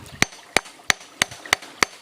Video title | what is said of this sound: giok klinting tungal jos jos ada di sini | Kalau diketuk dia bunyinya tok tok tok tok. Karena memang dia bersap-sap guys. Nah ini dia batunya berlapis-lapis.